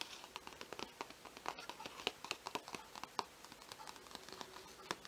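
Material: Paper.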